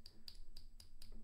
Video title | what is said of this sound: Let's Hunt Some Half Dollars Together! | it's Hollow and it's wrong and it's off